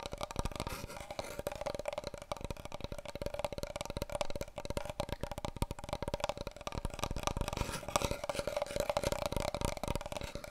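Fingernails tap rapidly and scratch across the surface of a large, long, hollow brown cardboard paper roll tube held in both hands. The dense, dry clicks run without a break and carry a steady hollow resonance around 590 Hz, each tap dying away almost instantly.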